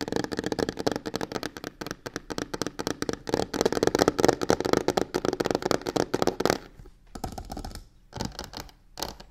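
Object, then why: Box covered in textured faux leather. Long nails rapidly tap and scratch the side panel of a medium hollow box covered in black embossed crocodile-texture faux leather with stitched edges. The result is a dense run of short, dry clicks and rasping scrapes with a mid-range body that thins into sparser bursts near the end.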